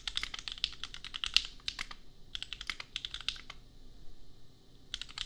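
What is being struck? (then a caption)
Plastic mechanical keyboard. Fingertips of both hands type on a compact $250 custom mechanical keyboard with Gateron Milky Yellow switches and red and pink plastic keycaps. Rapid, crisp, bright clacks come in three bursts, with short pauses near 2 seconds and a longer gap from about 3.6 to 4.9 seconds. Each keystroke is sharp and dies almost instantly, centered around 2.9 kHz with little low end.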